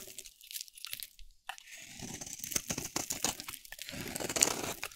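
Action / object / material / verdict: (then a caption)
scrape / bar of soap cut with a blade / soap / none. A dry, solid oval pink soap bar with a teal rim, held in the hand, is shaved with a metal utility blade. Quiet, crunchy scraping and crackling is heard, mostly high and bright. It starts as sparse scratches and builds into a denser, steadier crunch.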